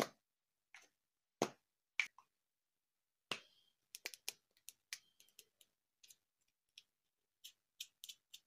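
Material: Plastic.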